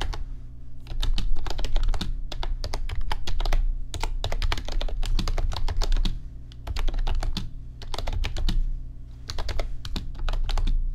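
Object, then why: Plastic computer keyboard. Fingertips type on an RGB backlit computer keyboard with plastic keys, making quick bursts of sharp, bright key clicks. The runs break into short pauses around the 4, 6.5 and 9 second marks, and a steady low hum continues underneath throughout.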